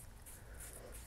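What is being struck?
Nothing is struck.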